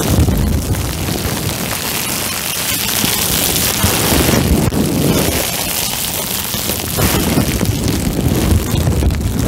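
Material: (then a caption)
Plastic. A clear plastic bubble wrap sheet wrapped over the microphone is squeezed and crinkled with fingertips. The result is a continuous, close, rumbling crackle that is heavy in the low end with a bright hiss on top. It swells in denser bursts near the start, around the middle, and through the last few seconds.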